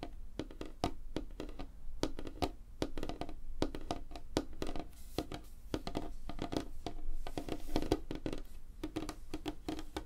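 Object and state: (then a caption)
Wooden tabletop tapped with fingernails. Long fingernails on both hands tap fast across a large, flat, solid light-wood tabletop. The result is a dense, uneven stream of crisp, dry clicks with a soft woody knock underneath, each tap dying out almost at once.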